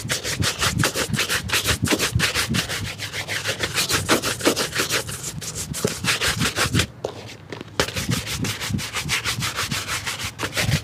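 A worn grey leather shoe with a rubber sole, hollow and empty and held in the lap, has its upper scrubbed back and forth with a wooden-backed bristle shoe brush. Rapid, brisk strokes make a steady bright, scratchy swishing with a low, hollow undertone, pausing briefly near the seven-second mark before resuming.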